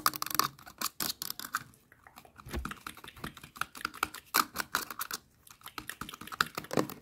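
Long nails tap and scratch a hand-sized, hollow blue plastic sunscreen spray bottle with a yellow trigger cap, striking both the body and the cap. The clip is a fast, uneven run of dry, clicky taps broken by scratchy rasps, with short pauses between bursts.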